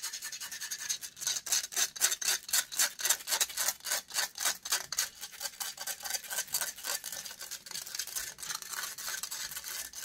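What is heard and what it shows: Long grey nails scratch rapidly across a metal wire-mesh microphone grille. The result is a fast, steady run of bright, hissy rasping strokes with no low end. The strokes are loudest and most distinct in the middle of the clip, then blur into softer, quicker scraping toward the end.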